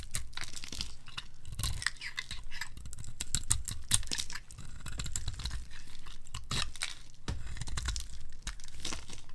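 A palm-sized, red-pink bar of dry soap with a dotted pattern is held in the hand and shaved with a metal blade into curls and flakes. The result is a steady run of crisp, crackling scrapes and dry tearing crunches, with bright edges over a low, soft rumble.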